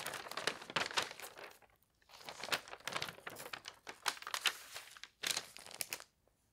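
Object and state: Newspaper page turning.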